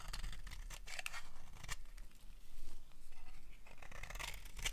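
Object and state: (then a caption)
Dry bar soap being shaved. A utility knife blade repeatedly shaves the edge of a solid, dry orange-red bar of soap. Crisp, papery scraping strokes come in quick successive bursts, with a bright, hissy texture over a faint low rumble.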